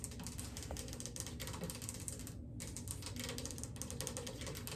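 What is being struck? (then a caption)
Laminate floor tapped and scratched with long fingernails. Long acrylic nail tips tap and scurry across a wood-look laminate floor. The result is a dense, continuous stream of quick clicky taps and scratchy scrapes over a steady low rumble, with a brief lull in the bright scratching partway through.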